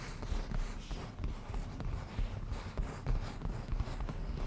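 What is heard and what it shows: Fingernails and fingertips slowly scratch and softly touch the padded, grained surface of a black leather cushion. The result is quiet, dull rustling and soft low thumps, with little bright detail and no ringing after each touch.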